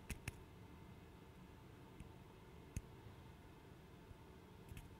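A small, light-colored, solid I-shaped wooden interlocking puzzle piece is held in both hands close to the microphone and tapped and clicked with fingertips and nails. A few sharp, dry, widely spaced clicks with bright tops and almost no ring stand out over a quiet, steady low hiss.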